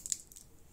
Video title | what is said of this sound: 👨🏻‍🍳 SURVIVAL CHEF #2 Castañas | ça sonne totalement croustillant dans ce cas